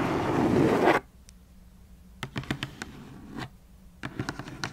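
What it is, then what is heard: Cardboard shoebox. Long nails scratch quickly across the lid of a closed black cardboard shoebox for about a second, making a dense, rough scraping. After a short quiet pause, the nails tap the lid and its edges in scattered bursts of about eleven crisp, dry clicks with bright edges, each dying away almost at once.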